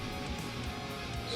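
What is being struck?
Nothing is struck.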